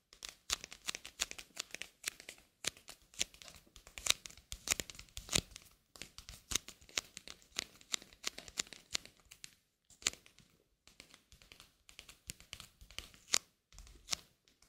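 A single thin, flat coated-paper playing card (the king of hearts), held in both hands, is scratched and tapped with long nails. Dense bursts of crisp, bright scratching and quick clicking taps come in rapid clusters with brief pauses between them. The sound is dry and high-pitched with almost no low end.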